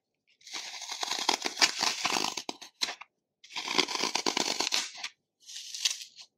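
A dry, porous green phenolic floral foam block is held in one hand over a plastic bowl of foam crumbs while fingertips and nails dig into its edge, scratching and crushing off crumbly chunks. Three bursts of dense, bright crunching and crackling are heard, with short crisp snaps and almost no low end.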